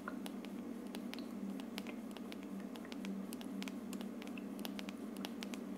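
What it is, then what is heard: Plastic aroma diffuser. Long dark nails quickly tap and scratch the hollow frosted plastic dome of an aroma diffuser, making sharp, bright clicks and light scraping over a steady low hum near 200 Hz. The quiet tapping runs continuously at an even level throughout.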